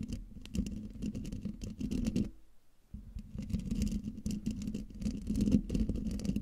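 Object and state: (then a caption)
Metal mesh microphone grille being scratched. Long dark-painted nails scratch the hollow metal mesh grille of a silver Blue Yeti microphone, making a dense, gritty rasp with a low, boomy body. The scratching stops briefly at about two and a half seconds, then resumes just as busily. At the end the hand lifts away from the grille.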